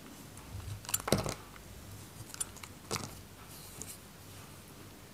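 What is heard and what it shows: A metal knife cuts chunks from a solid, white, dry bar of soap held in the hand. Short, crisp scraping and cracking cuts cluster around the one-second mark, with lighter ones near 2.4 and 3 seconds, over a quiet low hum.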